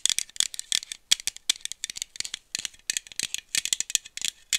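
A small aluminum iced-coffee bottle with a screw cap is held in one hand and shaken while being tapped with long nails. The result is a fast, bright, dry rattle of many short clicks with almost no ring and no low end.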